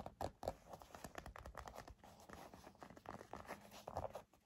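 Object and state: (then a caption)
Leather wallet. A black leather bifold wallet, hand-sized, is held and scratched and rubbed with fingernails and fingertips. Quiet, dry scratching and soft patter run throughout, with a few sharper scrapes standing out near the start and near the end.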